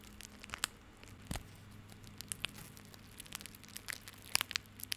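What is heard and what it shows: Fingertips scratch, rub and squeeze a small tied bundle of plastic rope held in the hand, making dry, crinkly crackles. About seventeen sharp, bright ticks and snaps stand out over a soft, steady hiss, with a faint low hum underneath. The crackles cluster toward the end.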